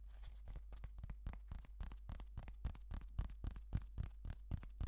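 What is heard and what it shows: Fingertips and nails tap and click rapidly on the underside and sides of a hollow black wired computer mouse with a plastic shell, held in the hands. The result is a fast, uneven run of short, dry, clicky taps with no ring, over a steady low hum.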